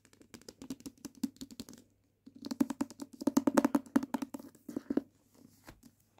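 A dark-covered hardcover copy of "Book of Night," solid paper with board covers and a decorated page edge and spine, is held on a patterned blanket. Long painted fingernails and fingertips tap first along the spine edge and then on the front cover, making about 33 quick, dry, soft knocks with a warm low-mid tone and a faint brighter click. There is a brief pause near the two-second mark, then a denser, louder run of taps that thins out at the end.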